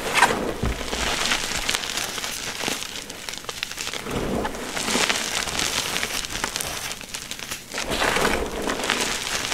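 Bare, chalk-covered hands squeeze, crush and rub a large heap of crumbled, dyed gym chalk (magnesium carbonate) blocks, powder with small chunks, in a shallow container. The result is a continuous bright, crunchy crackling and gritty rustle that swells in waves and dips briefly before rising again. There is little low-end weight.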